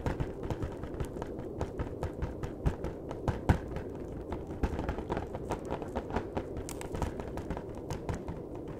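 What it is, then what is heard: Cardboard box tapped. Fingertips tap steadily on the top edge and face of a flat, hollow cardboard chocolate box. The taps are soft, dull and hollow with a quick decay, sitting on a constant low rumble, with a few slightly louder knocks mixed in.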